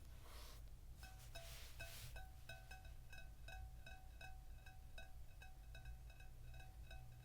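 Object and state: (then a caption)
Glazed fired ceramic baking dish, ringing tone. An oval, fired ceramic baker dish, glazed blue with a brown-dipped edge, is tapped repeatedly, giving a run of bright, bell-like clinks with clear ringing tones around 750 Hz and higher. A steady low hum sits underneath. The dish has a nice, clear ring.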